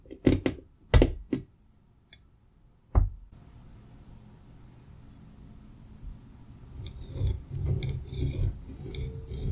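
A metal pizza cutter wheel repeatedly slices through a solid green kinetic sand slab. A few sharp, deep cuts come first, then a quiet low hiss, then a building stretch of gritty crunching and rasping with bright crackle toward the end.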